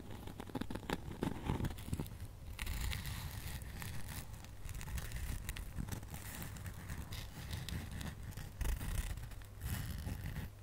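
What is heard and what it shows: A flat, hand-sized snowman Christmas ornament, apparently foam or polystyrene board coated in white and silver glitter, solid, with a wire hanging loop, is held in both hands and scratched and tapped with long nails and fingertips. A dense, steady stream of soft, low, rumbly scratching is broken by quick, dry tapping and crackly scraping.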